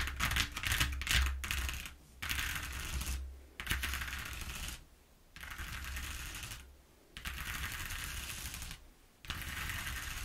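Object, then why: Corrugated cardboard sheet. Long nails scratch and tap along the exposed ridges of a flat brown corrugated cardboard sheet lying on a table. Bursts of dry, bright, papery scratching and quick ticking come in stretches separated by short near-silent pauses, over a steady low hum.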